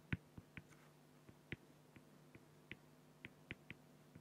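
A fine felt-tip marker makes nine short, repeated strokes on a flat, clear acrylic plexiglass sheet. Each stroke is a brief scratchy tick with a squeaky mid-high tone and a soft low thump, separated by quiet pauses.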